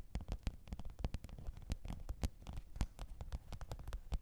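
Long pointed nails tap and scratch the top of a black, textured faux-leather hard-shell microphone case with a zipper, lying flat on fur. The result is a quick, irregular run of soft, dull thuds with faint clicky edges, and each one dies away almost instantly.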